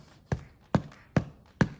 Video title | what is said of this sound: Wheat Keto Bread Recipe | when you tap it, it'll sound hollow